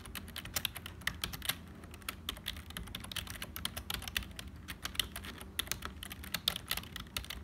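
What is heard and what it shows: Fingertips of both hands type continuously on a black HP full-size plastic keyboard with a hollow build. The result is a fast, uneven stream of short, bright, dry clicks that die away almost instantly, with some keystrokes landing harder than others, over a faint steady low rumble.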